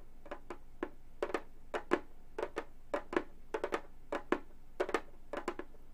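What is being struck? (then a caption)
Frame drum with synthetic head. A round, hollow Remo frame drum with a synthetic skin-look head lies flat and is tapped with long gold metal finger claws on both hands. About twenty short, dry taps come in quick pairs and small clusters, each with a mid-pitched body and a bright, clicky edge that dies away almost at once. A faint low hum sits underneath.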